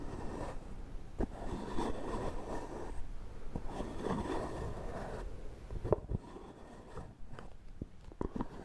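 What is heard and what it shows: Fingernails tap and scratch the screw lid of a hollow, round, cream-coloured plastic shaving cream tub held in one hand. Dense scratching and rustling fill the first five seconds, then sharper, separate taps follow with short, dry clicks over a low background.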